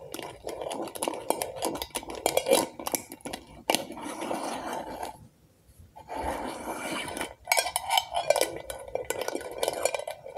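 Long acrylic nails tap rapidly on the glass sides and label of a medium glass jar candle filled with orange wax, making a dense run of short, bright clicks and clinks with a mid-toned glassy ring. The tapping pauses briefly around the middle and again near the end before resuming.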